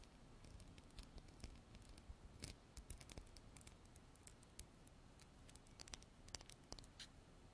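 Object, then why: Small glass bottle with plastic pump top. A small clear glass bottle with a white plastic pump top, held in both hands, is tapped and scratched with long black artificial nails. Quick, bright clicks and taps come in irregular bursts over a soft, steady scratching hiss. Each tap stops almost instantly, with no ringing.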